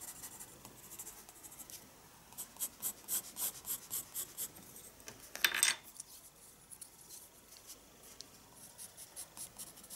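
A wooden graphite pencil sketches with repeated strokes on a page of a small spiral-bound paper sketchbook resting on a wooden desk. Soft, bright scratching and rubbing runs throughout, with a run of distinct, evenly spaced strokes in the middle. One louder, harsher scrape stands out before the sketching settles back to quiet strokes.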